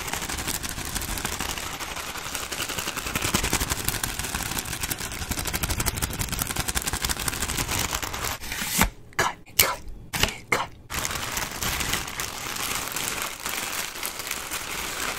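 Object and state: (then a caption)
Plastic bag of gift bows. A head-sized, soft clear plastic bag with a red top, full of small foil and ribbon gift bows, is squeezed and crinkled with fingertips and shaken. It gives a dense, bright crackling rustle that runs almost without a break. Around nine to eleven seconds the sound drops out between a few short, sharp bursts, then the steady crinkling returns.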